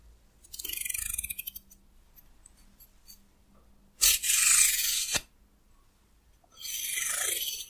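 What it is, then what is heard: Wooden comb scratched. A solid, hand-sized wooden hair comb has fingernails scratching and plucking its teeth near the end of the comb. The sound comes in three bright, raspy bursts: a fluttering run of quick plucks, then a louder scrape that stops sharply, then a longer steady scratch, with quiet gaps between them.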